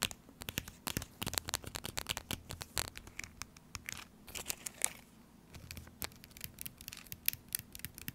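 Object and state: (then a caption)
Foil-plastic tuna pouch. Fingernails tap and scratch across the surface of a small, sealed, full laminated foil-plastic tuna pouch. Rapid, quiet, bright clicks mix with crisp crinkly scratching, over a faint steady low hum.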